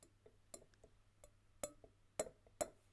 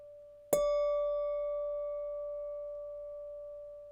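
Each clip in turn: First: damped drinking glass, ringing stopped. Second: ringing drinking glass, undamped.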